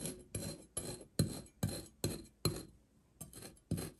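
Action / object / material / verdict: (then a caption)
scrape / kinetic sand shape scraped by a steel knife edge / kinetic sand / none. The edge of a steel kitchen knife scores and scratches crosshatch lines into a hand-sized, solid and dense green kinetic sand seahorse shape on a white surface, with a pink sand shape lying untouched nearby. Nine short, gritty rasping strokes are heard, each starting with a soft low thump and trailing into a bright, grainy scrape. The strokes fall in an uneven rhythm with a longer pause before the last three.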